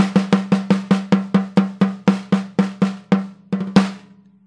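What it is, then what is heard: Maple snare drum. A MAPEX 14x5 maple-shell snare drum, with an orange wood finish and a hollow shell under a white coated head, is struck on the head with a wooden drumstick in strokes and rolls. About sixteen sharp, evenly spaced hits each carry a short, dry ring with a low tone near 195 Hz. A quick cluster of softer strokes leads to a final hit that fades out.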